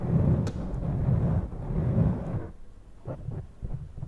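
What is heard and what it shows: Fingertips and long purple-painted nails cup and rub both sides of a soft, hollow black foam windscreen on a Zoom recorder mic. For the first two and a half seconds there is a dense, muffled low rumble of rubbing, and then it drops quieter to a few brief, scratchy brushes of light scratching.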